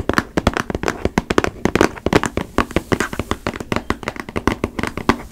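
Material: Cardboard.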